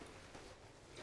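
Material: Nothing is struck.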